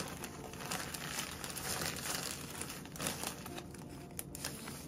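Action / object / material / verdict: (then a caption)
scrape / thin plastic zip bag with cookie crumbs / plastic / none. Fingertips and palms press, crinkle and shift a thin clear plastic zip-top bag partly filled with crushed dark cookie crumbs, resting on a wooden board, with a rolling pin lying nearby unused. A steady, bright crinkling and crackling of plastic and crumbs continues throughout, with small rustling swells and no clear pauses.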